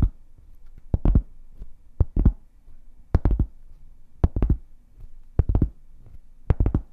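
A large, solid, round flat cork board is held upright beside the mic and tapped with long painted fingernails. Quick clusters of two or three dull, low taps come in seven bursts, with a soft thud on each and almost no ring. The taps repeat at a loose, uneven pace with quiet gaps between them.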